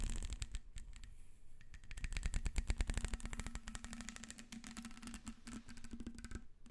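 Long red nails scratch along the ridges of a black ribbed plastic corrugated hose, a hollow flexible tube held up near its end. The result is a rapid, uneven run of dry ticking clicks and scrapes with a low, thumpy body and short, crisp decays, growing busier and louder in the middle before easing off.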